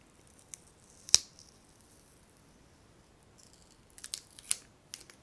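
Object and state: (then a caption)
Wax-filled glass candle jar. A small clear glass candle holder filled with solid pale wax, unlit and held in one hand, is tapped with long painted fingernails. The taps come as a few scattered, very short, bright clicks with almost no low end and no ring. They fall in a loose group early on and a quicker cluster near the end.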